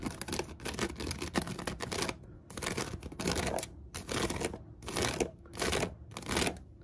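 Fingertips and long nails scratch and tap the woven rim of a large hollow storage basket with a braided seagrass top over a white coiled cotton rope base. Dry, crackly scratching bursts with bright rustle come in repeated waves separated by short quiet gaps, with soft tapping underneath.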